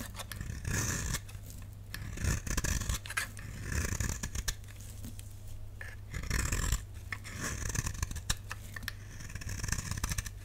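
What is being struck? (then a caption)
Bar of soap shaved with a blade. A utility knife blade shaves a solid, dry, lilac rectangular bar of soap held in the hand, scraping off thin powdery flakes. Repeated bright, rasping scrape strokes come in short bursts over a steady low hum. Each pass crackles briefly and leaves quiet pauses between strokes.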